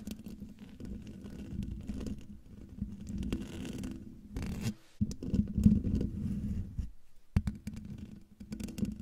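Long, dark-painted nails scratch a hollow, domed metal mesh microphone grille. The result is a dense, rough scratching texture with a boomy low rumble and a steady hum around 200 Hz. The scratching continues for the whole clip, broken only by short pauses just before 5 seconds and around 7 seconds.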